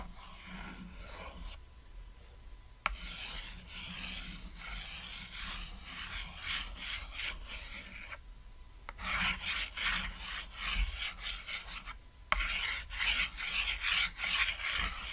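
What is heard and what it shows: A white chalk stick held by the fingertips scribbles continuous lines across a flat, solid, cat-shaped painted chalkboard, producing a bright, dry rasp in rhythmic strokes. The scratching pauses briefly twice, and each pause ends with a sharp tap before the scribbling resumes. The last stretch is louder and harsher than the first.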